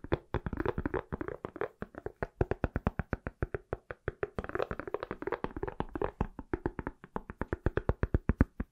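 An iPhone inside a pale silicone/plastic case, palm-sized and solid, is tapped rapidly with fingertips and nails. About 56 quick, dry taps come in an uneven, steady stream, each with a dull low thump and a faint click that dies away almost instantly.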